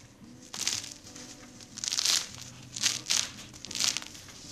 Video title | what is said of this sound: French Baguette "The quicker poolish method" | just listen to how crispy these are